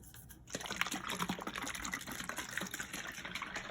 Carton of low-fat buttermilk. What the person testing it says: Let's shake it well. It sounds watery.